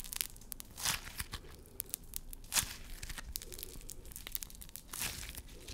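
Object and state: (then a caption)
Crunchy foam-bead slime. A small handful of pink crunchy floam slime, soft slime packed with tiny foam beads, is squeezed and crushed in a fist and between fingertips with short nails close to the microphone. Dense, bright crackling and popping snaps come in irregular bursts, with a few louder crunches standing out over a soft, squishy low rustle.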